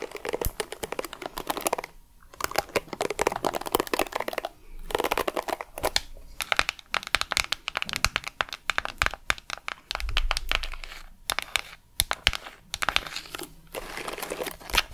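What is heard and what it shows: A small purple hollow plastic detangling hairbrush with black plastic bristles is held in hand while long decorated acrylic nails scratch and tap its glossy plastic back and run across the bristles, with the brush first held close to the lips. Dense, rapid crinkly scratches and sharp clicks fill the clip, broken by a few brief quiet gaps and some softer, muffled stretches.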